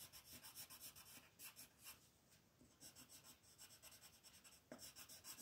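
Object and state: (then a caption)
Colored pencil shading on paper. A green colored pencil is rubbed in rapid, scratchy strokes to shade a flat white paper mandala coloring sheet lying on a table, while the other hand rests on the paper. The quiet, bright rasping comes in an uneven, fast rhythm of short strokes, mostly high hiss with little low end. It dips softer in the middle and picks up with a slightly louder scratch near the end.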